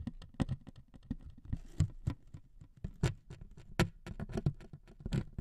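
Two metal needles scrape and tap across the surface of a thin wood veneer sheet resting on two microphones. The result is a rapid, uneven patter of short scratchy clicks, each with a dull low thump and a brief bright edge that dies away almost instantly.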